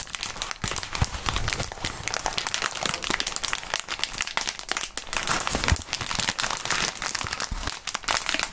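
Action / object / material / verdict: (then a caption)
scrape / plastic bubble wrap / plastic / none. A wad of clear plastic bubble wrap is squeezed and crumpled between gloved hands. The result is a continuous, dense crinkling with many sharp crackles and small pops that are bright and close, and there are brief quiet gaps between the squeezes.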